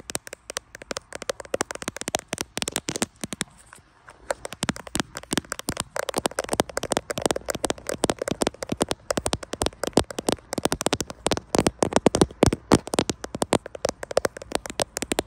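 Rapid fingertip taps on the glass back of a grey iPhone Pro-style smartphone with a metal frame, held in both hands and likely the recording device. Dense, dry, clicky taps land in quick bursts with a brief pause just before the four-second mark, then pick up again. Each tap dies almost instantly.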